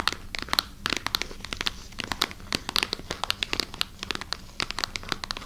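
Long nails scratch and crinkle a clear plastic packaging bag that holds a wooden knobbed massager, held close to the mic. A steady run of sharp, bright crackles and crinkles sounds over a faint low hum, each snap dying away almost instantly.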